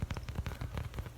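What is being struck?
Foam squishy toy.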